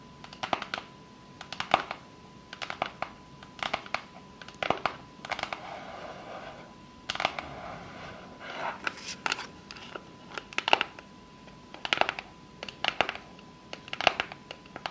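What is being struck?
Small cardboard box tapped with long fake nails.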